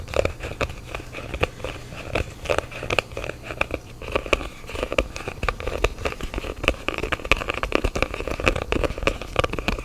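Fingertips tap and scratch a small, hollow, black printed cardboard phone box held in both hands. A steady stream of short, dry, crackly taps and scratches sounds over a constant low hum, with a hollow papery resonance in the mids and bright edges on the sharper taps.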